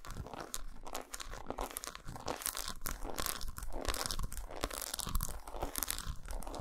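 Long acrylic nails scratch and tap rapidly across the patterned squares of an unwrapped, solid dark milk-chocolate bar lying flat on a towel. The result is a dense, crunchy, crinkly texture of fast scratches and short, dry taps with bright edges, continuing steadily throughout.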